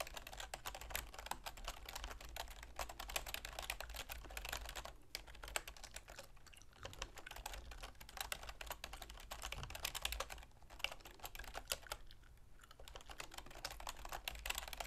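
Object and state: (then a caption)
Plastic computer keyboard being typed on. A full-size black plastic keyboard with a silver plastic frame, resting on a wooden desk, is typed on rapidly with long manicured fingernails and fingertips. A steady stream of quick, dry plastic clicks and taps with a bright edge continues for the whole clip, with a few brief pauses and a low background hum.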